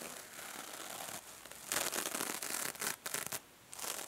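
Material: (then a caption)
Metal mesh. A small, hand-held silver mesh-covered foam sponge is squeezed by fingers while nails rub across its metallic mesh surface. Soft, bright scratching and rubbing builds into louder crinkly, rasping bursts in the middle, drops to a quiet hiss, then returns at the end.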